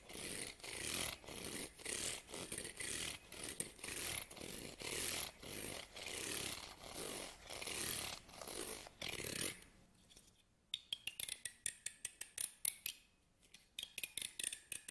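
Fingernails scratch and strum the teeth of a small solid wooden hair comb held in the hands. For about the first nine seconds there are steady, bright rasping strokes in a loose rhythm; after a brief near-silent pause, they give way to quick, crisp, separate plucks of the teeth that stop dead, with no ringing.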